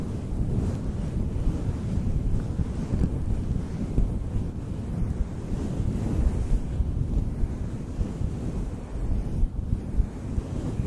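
Fingertips of both hands rub and brush a synthetic faux fur microphone windscreen directly on the mic. The result is a continuous, muffled, low rumbling whoosh, like wind buffeting or distant surf, with almost nothing bright above it. It swells and dips slightly but never stops.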